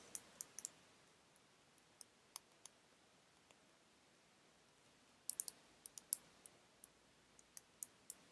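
Long red nails tap and click on a small pink-filled glass nail polish bottle held in the hand, making 19 sharp, bright clicks with almost no ring. The clicks come in a sparse run during the first 3.5 seconds, pause, then resume in a denser cluster from about 5.3 seconds to the end.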